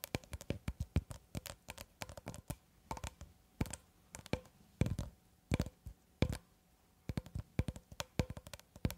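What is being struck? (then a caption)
Roll of plastic cling film. Long red acrylic nails tap on the surface of a long cylindrical roll of clear plastic cling film, solid wound film held horizontally. Several dozen short, dull taps come in quick, uneven bursts with brief pauses between them. Each tap is a soft, low-heavy knock that dies away almost instantly.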